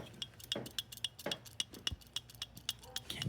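An assembled metal Amal motorcycle carburetor, fitted with new floats that passed a hot boiling-water test, is shaken on a bench. A rapid series of light, dry clicks and rattles is heard as the float flops up and down inside. This shows the float is free and not stuck.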